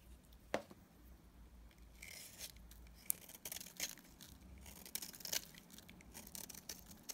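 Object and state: Dried soap bar being shaved.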